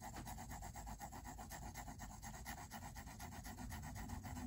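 A pink mechanical pencil rubs and scratches rapid shading strokes across the white paper of a spiral-bound sketchbook lying flat. The strokes form a quiet, steady back-and-forth scratching at about four per second, with soft papery rasps over a low rumble.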